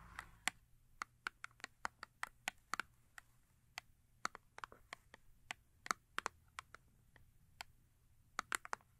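Long acrylic nails tap a small cardboard Yardley soap box, full with a soap bar and turned to show its large face. About 29 quiet, dry, bright clicks come in an uneven rhythm, each centered near 1.3 kHz and stopping at once with no ring.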